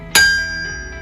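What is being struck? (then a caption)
Iron anvil. A 165-pound Mousehole anvil from 1891 is struck once, giving a bright, bell-like ring centered around 1.6 kHz. The tone decays slowly, with sustained high harmonics lingering for the rest of the second.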